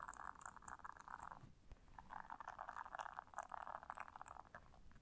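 Long nails scratch the bristles of a round blue silicone bristle scrubber resting on fur. A quiet, dense scratching rasp centred around 1 kHz fills the clip, with a brief lull in the middle and faint bright ticks on top.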